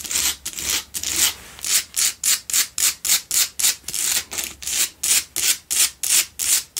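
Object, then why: Pink salt block candle holder. Long nails scratch the front face and edges of a lit, solid pink Himalayan salt block double candle holder in quick, repeated strokes. About twenty distinct bursts of bright, hissy rasping rise and fall with almost no low end, separated by brief gaps.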